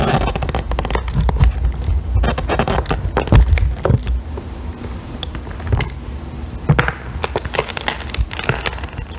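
A small remaining piece of solid green bar soap is scraped with a metal loop tool and picked at with fingernails. Dense, dry crackling and crunchy scratches come in quick bursts over a low, dull rumble. Each one cuts off almost at once, with brief louder snaps standing out.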